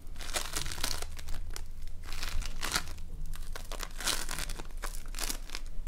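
A fist-sized lump of multicolored foam beads held together by slime is pressed, pinched and squeezed between the fingers of both hands. Dense, bright crackling and crinkling pops come in a steady stream of overlapping bursts over a low, steady hum.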